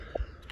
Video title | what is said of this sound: Mag-bar fire | you got that hollow sound here underneath